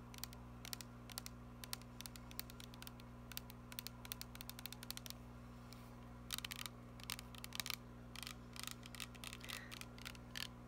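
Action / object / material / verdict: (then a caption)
tap / plastic body mist spray bottle / plastic / none. Long painted nails tap and scratch a tall, glittery teal plastic fragrance mist bottle with a silver spray cap that appears filled with liquid. Quiet, sharp, bright clicks and ticks come in irregular bursts with short scratchy clusters over a steady low hum.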